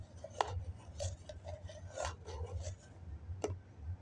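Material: Foam.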